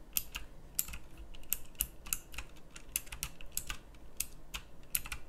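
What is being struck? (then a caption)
Plastic mechanical keyboard with round keycaps. Fast typing with the fingertips of both hands on a pink plastic mechanical typewriter-style keyboard with round plastic keycaps. Quick, bright clicks with very short decay ring out in an uneven rhythm over a steady low hum.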